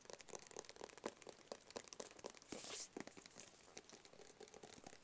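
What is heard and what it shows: Fingertips and nails tap and scratch a small, closed, hollow black cardboard gift box, producing a quick run of soft, dry, hollow taps with short papery clicks. Partway through, a brief, bright, hissy scratch across the surface cuts in before the light tapping resumes. The whole clip stays quiet and close.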